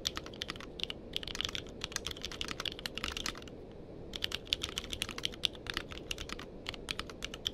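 Fingertips type on a compact mechanical keyboard with a purple case and plastic keycaps, with a microphone sitting nearby untouched. Quick, bright clacks arrive in steady bursts over a low background hiss, each keystroke sharp and dying away almost instantly, with a brief pause near the middle before typing resumes.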